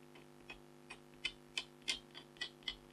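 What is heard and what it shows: A red-handled stylus scratches lines into the lower left corner of a flat, thin, black-coated scratch art foil card with a tiger design. Eight short, bright, scratchy strokes come at a fairly steady pace, each ending quickly, over a faint steady low hum.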